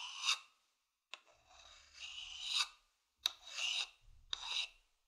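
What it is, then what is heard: Wooden bowl scratched with a stick. A hollow, empty, medium-sized wooden bowl held in the palm has its outer surface scratched with a thin wooden stick. Bright, raspy scraping strokes swell and fade, with three sharp clicks where the stick catches and starts a new stroke.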